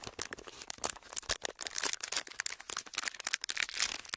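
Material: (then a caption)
Plastic. A small, empty sheet of clear ridged plastic packaging is flexed and crinkled with the fingertips. It makes a steady run of dry, bright crackles and snaps with almost no low end, each crackle dying away at once.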